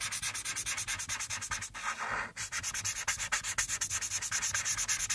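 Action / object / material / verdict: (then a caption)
scrape / felt-tip marker on a paper sheet / paper / none. A green felt-tip marker, held by a hand with long painted nails, rubs and scratches across a thin sheet of white coloring paper lying flat, in fast, dense coloring strokes. The result is a steady run of bright, hissy scratching pulses with almost no low end, easing briefly into a smoother, continuous rub near the middle before the quick strokes resume.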